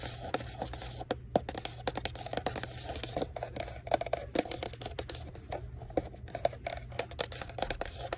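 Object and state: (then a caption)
Cardboard box tapped and scratched. A small, hollow pink cardboard Valentine mailbox kit is held in both hands while long nails tap and scratch rapidly across its printed surface. The clicks are short, dry and hollow-sounding, centered in the low mids with brief bright scraping edges, over a steady low hum.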